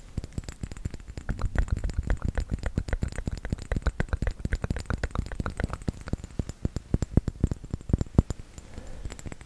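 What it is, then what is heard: Small glass bottle of liquid. A small round glass bottle with a metal cap, filled with red liquid, is tapped rapidly with the fingertips and nails. The irregular stream of short, dry taps has a soft, low thump body and brief clicky edges, with no ring after each tap.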